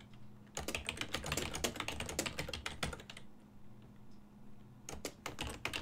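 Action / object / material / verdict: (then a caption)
tap / plastic desktop computer keyboard / plastic / none. Fingertips of both hands type on a full-size black and silver plastic desktop keyboard with keys on a hollow body, making quick, irregular bright clicky taps. A dense burst of typing is followed by a quieter pause from about 3 to 4.8 seconds, then another short flurry of keystrokes. A faint steady low hum runs underneath throughout.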